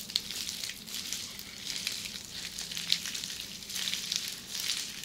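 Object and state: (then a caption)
Plastic bubble wrap. Long red-painted nails scratch across flat red plastic bubble wrap, up close. A continuous dry, bright crackling and scratching hiss fills the clip, with sharp little clicks popping out of it now and then.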